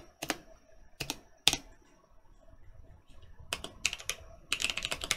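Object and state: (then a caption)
Mechanical keyboard with plastic keycaps. Keys on a Mercutio 40% mechanical keyboard with Boba U4T switches and plastic keycaps are pressed by right-hand fingertips, then typed on with both hands. A few spaced, sharp, bright clacks give way to quicker bursts of typing, each stroke short with almost no ring or low end.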